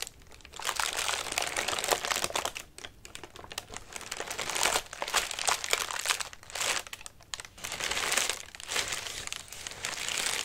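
Fingertips and nails scratch and crumple the thin paper of a large orange paper lantern with wire ribs, hollow and partly collapsed. Dense, bright crinkling and crackling rises and falls in bursts with brief quieter gaps, with almost no low end.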